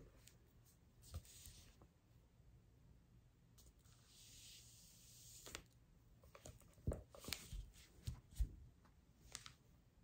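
A large hardcover cookbook, "Life of Fire," with a glossy paper dust jacket and a solid, thick stack of pages, is held and turned in the hands, then laid flat on a dark fuzzy surface. Quiet, soft rustling and sliding are followed by long acrylic nails scratching the cover and tapping it with sharp, bright clicks and dull low thumps that stop almost at once.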